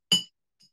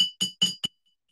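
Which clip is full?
The first.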